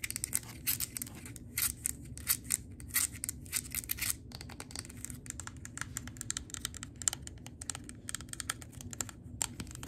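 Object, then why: Glass candle jar filled with wax. Long gold acrylic nails tap and scratch the glass bottom and label side of a large, wax-filled Peppermint Sugar Cookie glass candle jar held in the hands. Rapid, dry, bright clicks and scratchy strokes come in quick bursts, loudest during the first four seconds, over a faint low rumble. Each tap stops dead with no ringing.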